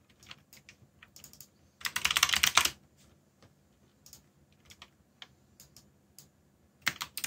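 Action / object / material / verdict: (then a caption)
tap / mechanical keyboard with plastic keycaps / plastic / none. Fingertips type on a backlit mechanical keyboard with black plastic keycaps, producing sharp, bright, irregular clicks. A dense burst of rapid keystrokes comes near the two-second mark, and another quick cluster follows at the end.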